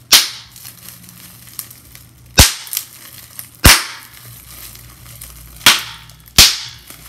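Clear plastic bubble wrap is pinched with the fingertips, and its bubbles pop in five sharp, bright snaps spread across the clip. Faint plastic crinkling fills the gaps between the pops.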